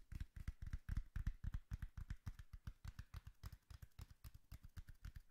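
Long nails tap rapidly on the flat face of a hollow brown cardboard box held upright. The result is a fast, slightly uneven stream of dozens of short, dull, hollow thuds, deep and boomy with faint brighter clicks. Each tap dies away almost instantly.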